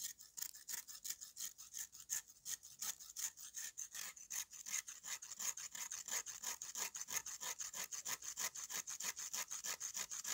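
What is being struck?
Dried red mud slab.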